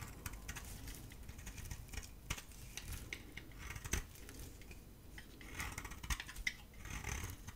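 A solid yellow bar of dry soap with red dots and a white interior is held in the palm and shaved with a gold utility blade, peeling off white curls. Quiet, dry scraping and crisp cutting sounds with short, bright clicks and ticks that die away almost instantly, over a low rumble.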